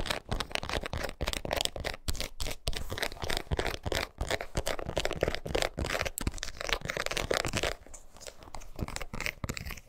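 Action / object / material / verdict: scrape / rubber shoe outsole / rubber / none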